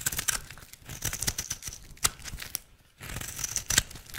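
A utility knife blade carves flakes from a square, solid, dry teal soap bar held in the hand, making crisp, bright scraping and crackling cuts with sharp little snaps. The strokes come in uneven bursts, with a brief quiet gap just before the scraping resumes.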